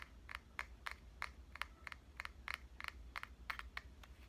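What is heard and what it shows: A pink compact digital camera is tapped with fingertips and nails on its front and lens area. About fifteen short, dry clicks centered around 2 kHz reach into the high range, with no ring after each tap. A steady low hum sits underneath.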